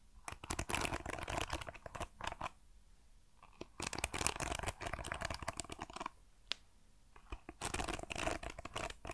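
Fingertips strum and scratch across the dense metal pin bristles of a hand-sized hairbrush with a wooden paddle, held in one hand. The result is three bursts of rapid, bright, scratchy crackling with an occasional isolated tick, separated by short near-silent pauses.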